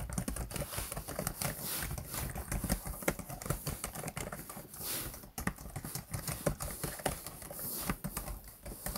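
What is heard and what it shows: Fingertips of both hands type on the keys of a black plastic laptop keyboard. A rapid, uneven stream of short, dry clicks and taps is heard, with soft low thumps under them and brief pauses. Each keystroke dies away almost instantly.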